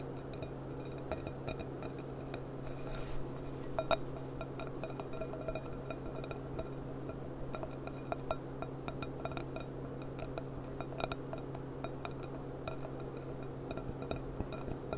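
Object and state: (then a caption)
Glass cup tapped with fingernails. Long painted nails tap around the bowl of a clear, stemmed glass cup with a gold rim, sitting upside down, hollow and empty, on a cloth. Quick, light clinks with a bright edge and a very short ring, around 660 Hz, scatter irregularly over a steady low hum.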